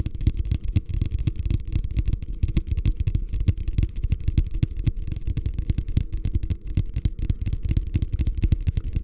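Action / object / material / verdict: tap / plastic wastebasket / plastic / none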